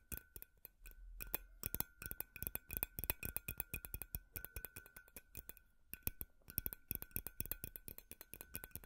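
Metal finger picks tap rapidly on a large, hollow, white frosted glass light bulb with a metal base, held in the hands. The taps make quick, sharp glassy clinks over a steady ringing tone around 1.5 kHz, with a faint low hum underneath.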